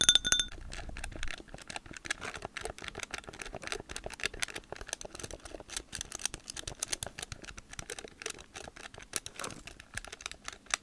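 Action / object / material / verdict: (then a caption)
tap / plastic calculator keypad / plastic / none. Long-nailed fingertips press and type on the plastic buttons of a hand-held blue plastic Casio scientific calculator. A steady stream of quick, bright clicks and taps with almost no ring continues for about eleven seconds, louder and fuller in the first second or so.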